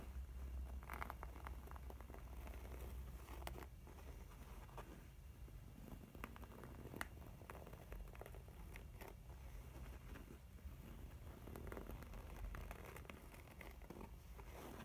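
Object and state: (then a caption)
Faux leather makeup bag. Long painted nails scratch and tap across the textured front panel of a mint pebbled faux leather cosmetic pouch, closed and full, with a soft, pouch-like body. The result is quiet, steady scratching with light, brief taps scattered throughout, mostly low and muffled with faint bright crackles.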